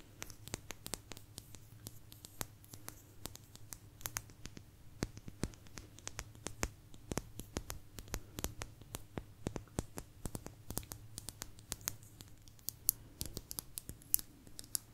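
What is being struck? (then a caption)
Thin agate stone slice. A small, thin, solid blue agate slice is scratched and tapped with long nails close to the microphone. Dense, sharp, bright clicks and scratches that die away almost instantly sit over a steady low hum.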